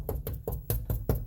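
Seven dull, low knocks with short decay and no rattle come from tapping the metal inner panel and mechanism of a Winnebago RV motor home driver-side door on a Workhorse chassis. The taps land on the same spot after butyl tape has been wedged in on both sides. The door part no longer rattles.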